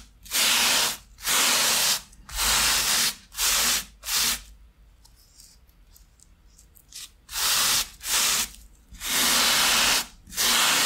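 A thin foam shoe insole with a grey fabric top, lying on a towel beside a second insole, is scrubbed along its length with a wooden-handled stiff bristle brush. Bright, hissy brushing strokes come in a quick run, pause briefly, then resume.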